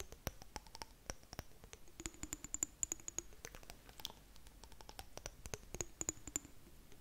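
Long nails tap and scratch on the sides of a clear glass jar with blue contents. Quick, dry clicks come in an uneven stream, with faint high, bright glassy tones and soft scratching between taps. Each tap dies away almost instantly.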